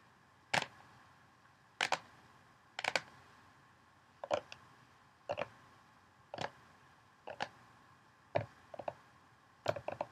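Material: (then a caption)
Plastic. Long nails tap on the rim and inner walls of a large, hollow orange plastic mixing bowl with a little water in it, and then fingertips move inside the bowl. The result is a series of sharp, dry clicks spaced about a second apart, some coming as quick doubles. Each click is bright and decays almost instantly over a quiet, steady background hiss.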